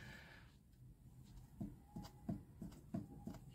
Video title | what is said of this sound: Corven Touring: RUIDO RARO EN EL MOTOR | se escucha el golpecito Eso es porque está cabeceando el pistón